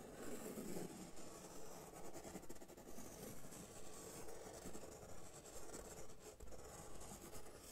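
A hand rubs and scribbles with a white marker across a large, flat, brown corrugated cardboard sheet. The result is a steady, dry rasping scrape that swells and fades in a fairly regular stroke rhythm, with most of its weight in the low range.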